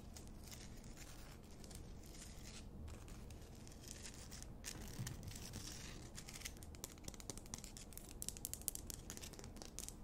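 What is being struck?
Rock-salt lamp.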